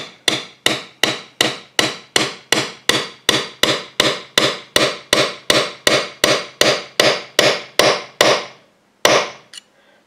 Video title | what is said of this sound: GUITAR VIDEO Pine Telecaster Build, Strat Neck Pickup, No Pickguard (bonus end of year video) | You can hear it change sounds towards the end when it bottoms out.